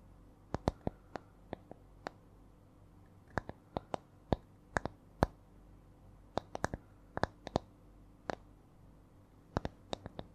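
A small, solid, round wooden disc held in both hands is tapped slowly with long nails in a shifting, irregular rhythm. About 29 sharp, dry clicks with bright tops ring out and cut off almost at once. Between them is a quiet, steady low background.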